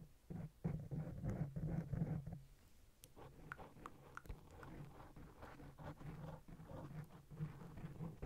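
Long blue nails on both hands scratch and tap the surface of a black, fist-sized foam microphone windscreen. The result is muffled, low-heavy rustling and soft thumping taps, loudest in a dense burst over the first two and a half seconds before settling into quieter, irregular scratching.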